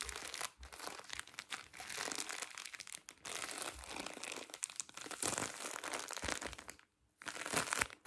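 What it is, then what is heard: Plastic-wrapped pack of cotton pads. A full pack of cotton pads in thin plastic film is turned in the hands while fingertips and nails crinkle and scratch the wrapper. The sound is a dense, bright, continuous crinkling with quick scratchy bursts. It drops to near silence just before the 7-second mark, then resumes for a final crinkly stretch.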